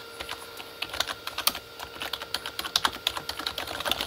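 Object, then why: Plastic computer keyboard. Both hands type with fingertips on a full-size Corsair K35 plastic mechanical keyboard with red-backlit plastic keys. The result is a quick, uneven run of short, bright plastic clacks with almost no low end, each dying away almost instantly, over a faint steady tone.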